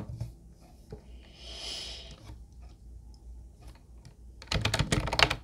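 Fingertips of both hands type on a mint-blue plastic retro Ubotie keyboard with round white keycaps. A few soft, scattered taps and a brief hissy swell give way to a quick, dense flurry of bright, clicky key presses near the end.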